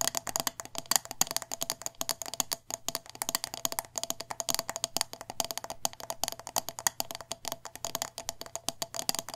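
Long nails tap quickly on the glass sides of a hand-sized, wax-filled glass jar candle with a metal lid. The result is a rapid, steady stream of dozens of short, bright clicks with almost no ring and very little low end.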